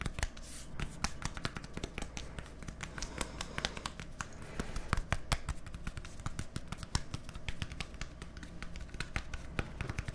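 A small, hollow white plastic deodorant stick with a green cap is held up to the microphones and tapped quickly with fingertips and nails. Dozens of sharp, dry clicks and taps come in a fast, uneven stream, each dying away at once. A steady low hum runs underneath throughout.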